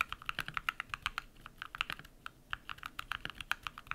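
Bare fingertips type rapid key presses on a compact modded mechanical keyboard with white PBT plastic keycaps and lubed switches. About thirty short, crisp clacks arrive in an uneven stream, each with a bright mid-toned snap and almost no low end. Every keystroke dies away instantly.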